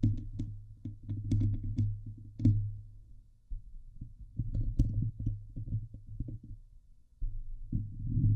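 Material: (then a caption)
Steel mesh. Long nails scratch the hollow steel mesh grille of a Blue Yeti microphone, first with one hand and then with both. The result is a dense, low, boomy rasping and scraping with brief bright ticks, thinning into quieter stretches before swelling back up at the end.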